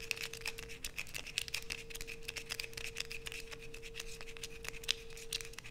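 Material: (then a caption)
Soap. Long nails scrape quickly across a solid light-blue bar of soap held in both hands, curling off shavings. The sound is a rapid run of dry, bright scratches and crisp clicks over a faint steady low hum.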